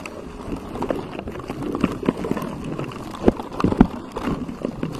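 Fingertips of both hands scratch and rub a pink textured silicone cover on a microphone. The result is a dense, irregular stream of soft, muffled low-to-mid rubbing and scraping, broken by a few louder dull thumps and crackles. There is almost no bright high end.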